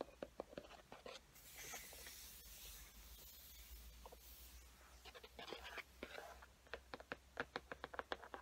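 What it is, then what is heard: Cardboard marker box tapped and scratched with fingernails. Long painted fingernails tap and scratch across the printed front of a large, flat, hollow cardboard Sharpie limited-edition box held upright. Quick, light clicking taps open the clip, then a steady, bright scratching rasp takes over. A final run of sharp taps closes it, all at a soft, close level.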